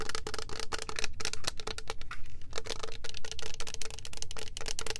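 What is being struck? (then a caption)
Plastic spray bottle. A tall, cylindrical, clear plastic Rio Rumberry mist bottle, filled with purple liquid and topped with a clear plastic cap, is tapped with long nails and fingertips. The taps come as a quick, steady stream of short, bright plastic clicks that die away almost at once, over a faint low hum.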